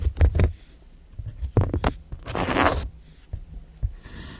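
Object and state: Cucumber being sliced.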